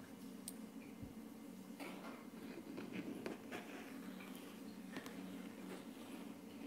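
Short painted fingernails on both hands tap and scratch across a flat, solid wood-look laminate tabletop. Light, crisp clicks and soft scraping strokes sit over a steady low hum.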